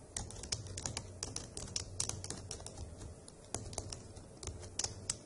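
Long acrylic nails and fingertips type steadily on the hollow keycaps of a dark grey plastic laptop keyboard, making quick, sharp, bright clicks and taps over a low, steady hum. The tapping runs unevenly throughout, with brief pauses and a few louder strikes.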